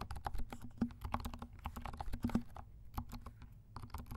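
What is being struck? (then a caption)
Plastic mechanical keyboard. Fingertips of both hands type on a compact 68-key plastic mechanical keyboard with dark plastic keycaps and silent switches. Soft, muffled keystrokes follow in a quick, uneven patter, with a low thud beneath each press. Each keystroke dies away almost at once.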